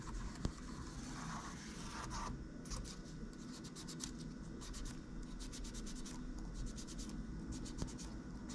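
A gloved hand steadily scratches a cotton swab back and forth between the keys of a plastic laptop keyboard. Quick, bright scratchy strokes repeat over a constant low hum, with a couple of sharp clicks standing out.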